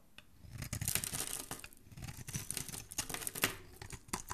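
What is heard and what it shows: A metal knife blade scrapes and shaves curls off the surface of a solid, palm-sized orange bar of soap held in hand, with the shavings piling up below. A rapid series of short, overlapping strokes produces dry, crisp rasping and crinkling with bright, hissy texture over a soft low rumble. Each stroke cuts off quickly with almost no ring.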